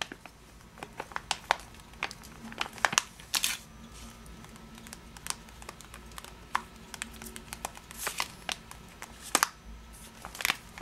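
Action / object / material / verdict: shake / plastic bag of sugar-coated almonds / plastic / none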